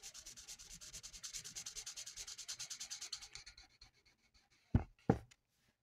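The felt tip of a lilac plastic marker is rubbed back and forth over the same area of a flat sheet of mandala paper, giving about three dozen quick, even, bright scratchy coloring strokes. The strokes thin out and fade into a few soft scrapes. Two sharp, louder taps close the clip.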